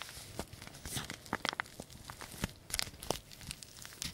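A small green-printed paper tea bag sachet, flattened and folded, is rubbed and crinkled between the fingertips. The result is a quiet run of dry, papery crinkles and rustles, with sharp bright crackles that stop dead without ringing.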